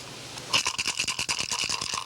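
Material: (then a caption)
Shell, stone. A turtle shell holding a measured handful of small smooth pebbles, only part of the final fill, is shaken with its opening closed. After about half a second of faint hiss, a quick series of bright, dry rattling clicks follows as the pebbles knock inside the shell.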